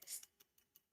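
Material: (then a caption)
Glass. A glass drinking vessel is tapped five times to show by its sound that it is glass. Each tap is a faint, bright, high-pitched clink with almost no low end and a very short ring.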